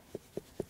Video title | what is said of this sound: Zupa z dyni - Malon z rejbakami. Tradycje na kurpiach | das hier ist gut, ich klopfe - hörst du? Ich kann hören.